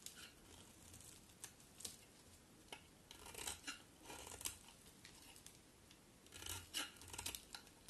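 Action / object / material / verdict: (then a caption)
scrape / soap bar / soap / none. A solid cream-white bar of soap, held in the hand, is shaved with a utility knife blade, leaving a pile of flakes beside it. Quiet, bright, crisp scraping and shaving strokes come in short bursts, some clustered and some spaced apart, with soft crumbly crackles in between.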